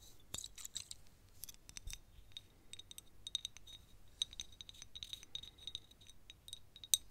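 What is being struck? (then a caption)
Small thick glass perfume bottle. Long nails tap a small, thick glass perfume bottle, partly full of yellow liquid and topped with a clear cap. The result is a quiet, irregular run of many quick, bright clicks, each with a short glassy ping near 3.7 kHz that dies away almost at once. A sharper, louder tap comes near the end.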